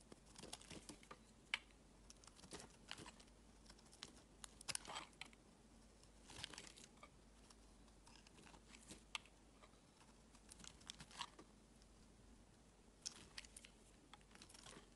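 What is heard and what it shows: A palm-sized solid green bar of soap, held in one hand, is shaved with a metal utility blade, dropping curls onto a woven mat. Quiet, crisp scraping and crinkly crackling come in irregular bright bursts over a faint steady low hum.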